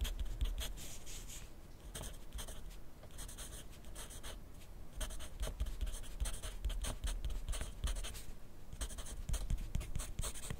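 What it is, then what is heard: Pencil writing on a paper notepad. A wooden pencil's graphite tip scratches steadily across a thin lined paper notepad lying flat on a desk while writing. Quiet, bright scratchy strokes come in uneven bursts over a soft low background hum.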